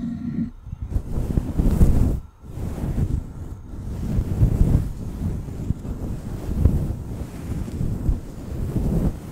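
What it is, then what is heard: Faux fur microphone windscreen being scratched. A fluffy grey-white faux fur windscreen, soft and hollow over a black USB microphone, is scratched and rubbed with long acrylic nails and fingertips. The result is a dense, muffled, low rumbling rustle that swells and fades in repeated strokes, with a brief near-silent gap partway through.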